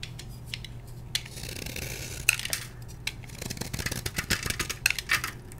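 A palm-sized solid block of blue-dyed magnesium chalk, held in one hand, is carved and scraped with a metal blade held in the other, and the crumbs fall onto a white plastic tray. Dry, bright scraping hisses mix with sharp, crisp ticks and crumbly crackles over a steady low hum. The crackling grows busier toward the end.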